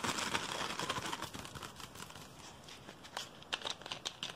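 Fingers grip and crinkle an empty, hollow clear PET Pepsi bottle with a blue label and cap, scratching near the cap. Fast, irregular, bright plastic crackling starts dense and loud, eases into a quieter scratchy stretch, then returns in sharper, snappy crinkles toward the end.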